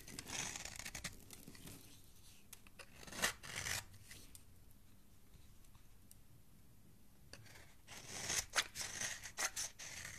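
A metal knife blade scrapes the edge of a solid oval green soap bar held in hand, shaving off soap flakes. Bright, crisp scraping comes in bursts at the start and end, with a quieter, softer stretch of scraping in the middle.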